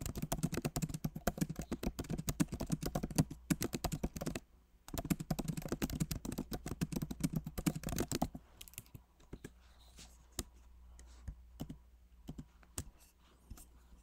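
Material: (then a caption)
Plastic. Fingertips type quickly on a backlit MacBook Pro Magic Keyboard with plastic keycaps in an aluminum body, making dense bursts of soft, low clicking with a brief pause midway. After about eight seconds the typing thins to slower, scattered single taps on the keys.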